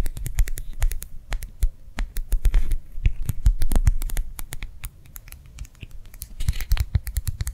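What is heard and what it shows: A small, round, clear plastic gel-filled hand warmer pad is held edge-on and tapped and scratched with long nails. Fast, dry clicking taps with a dull low thud and a bright edge follow each other closely, mixed with brief scratching. Each tap dies away almost instantly.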